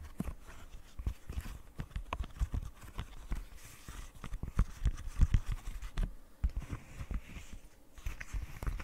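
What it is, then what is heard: Silicone pop-it fidget toy. A small flat rainbow silicone pop-it fidget toy with hollow bubbles, held in the hands, is tapped and scratched with long painted nails. Quick, dull, low taps come in an irregular run, mixed with faint scratching.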